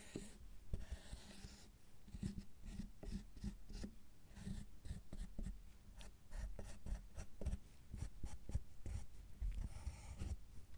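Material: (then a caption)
Chocolate. A metal loop tool and a pointed metal tool scrape and carve the surface of a solid milk chocolate bar. The result is a quiet, continuous run of short, dry scratching strokes, mostly low and muffled, with brief bright rasps on some passes.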